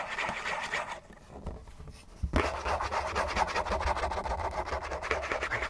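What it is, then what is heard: Cardboard tissue box scratched. Fingernails scratch quickly along the sides of a hollow, printed-cardboard Kleenex tissue box, making a dense, papery rasping with a dry, bright edge. The scratching eases into a quieter stretch, then a low thump brings it back at full, steady pace to the end.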